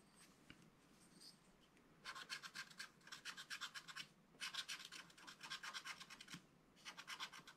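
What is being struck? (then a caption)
Wax-coated scratch art card scratched with a wooden stylus. A wooden stylus scratches green grass strokes into the bottom of a flat black-coated scratch art card. After a quiet opening, three bursts of quick, bright, rasping strokes follow in rapid succession. Each stroke is short and dry, with almost no ring.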